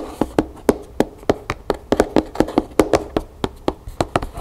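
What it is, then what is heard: Cardboard gift box. Long nails and fingertips tap, scratch and rub across the top of a closed, hollow, large black cardboard gift box lying flat. Nineteen quick, dry taps land in a fast, uneven rhythm. Each gives a short, hollow mid-pitched knock around 300 Hz with a brief bright click, and soft scratchy rubbing fills the gaps.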